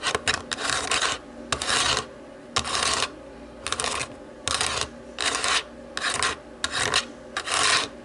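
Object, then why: Plastic TV remote. Long nails scratch and rub over the white buttons of a black plastic TV remote. Bursts of dry, bright, raspy scratching start and stop at an uneven pace, with short quiet gaps between them.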